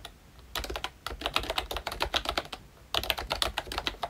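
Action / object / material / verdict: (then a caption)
tap / plastic membrane keyboard / plastic / none. Fingertips of both hands type continuously on a full-size ROYCHE Disney Mickey Mouse retro membrane keyboard with round plastic keycaps. It makes quick, bright, clacky keystrokes with short decay, in two bursts separated by a brief pause near the middle.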